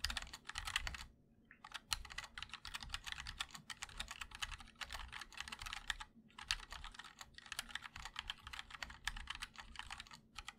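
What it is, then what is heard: Mechanical keyboard with ABS keycaps in an aluminum case. Fingertips of both hands type continuously on a 60% MOD-L Linear mechanical keyboard with white and black ABS keycaps in a black aluminum case. Rapid, bright, clacky keystrokes come in dense bursts, with short pauses near the first second and around six seconds.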